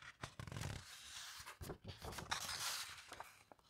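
Fingertips and long nails rub and smooth across the heavyweight glossy paper pages of a large hardcover coffee table book lying open on a carpet, then turn them and let them drop with a soft thud. The sound is quiet and mostly bright, with papery rustles and scrapes over low, soft thumps.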